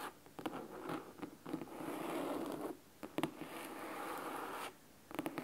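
Fingernails scratch the cloth spine, then the top edge, of a large, thick, solid red fabric-covered hardcover book. Dry, crisp scratching comes in sustained rasping strokes broken by quick, sharp nail clicks, with short quiet gaps between passages.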